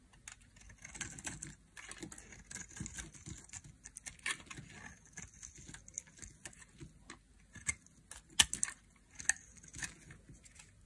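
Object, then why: Bar of soap cut with a thin blade. A thin black blade carves a solid rectangular bar of dry yellow-and-white striped soap held in a hand with long painted nails, shaving off crisp strips and flakes. Quiet, dry, crackly scraping comes in irregular bursts, bright and papery with little low end, and a few sharper snaps stand out near the end.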